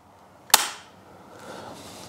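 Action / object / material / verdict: strike / steel shotgun action / steel / tight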